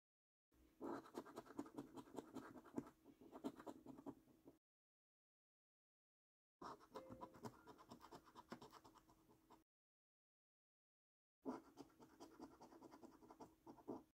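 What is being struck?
Paper scratch card with scratch-off coating.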